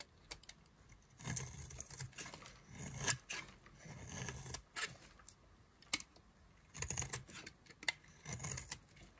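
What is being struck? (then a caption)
Bar of soap carved with a knife. A solid yellow-and-white striped bar of dry soap is held in the hand and carved and scraped with a knife, breaking off crumbly chunks. Bright, dry scraping strokes come in bursts, with sharp clicks and brief snaps between them and a soft low rumble under the heavier passes.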